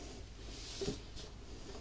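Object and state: Nothing is struck.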